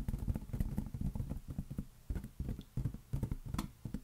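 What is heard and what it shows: Fingertips tap rapidly on a large, hollow, air-filled green latex balloon held in one hand. The result is a quick, uneven stream of soft, deep, hollow thumps with almost no brightness, each dying away almost at once.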